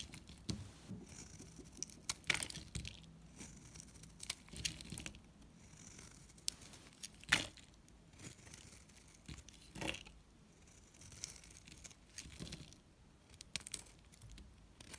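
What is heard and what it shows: A solid pink NIVEA bar soap, held in one hand, is scraped with a metal blade that peels thick curls from its surface, leaving shavings around the bar. Quiet, bright, dry scraping and crackly tearing sounds come in irregular bursts, with a few sharper crisp cuts standing out among softer crinkling strokes.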